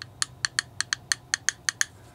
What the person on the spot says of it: to my ear kind of sounds like metal yeah there's the bottom of it we've got a metal case on the bottom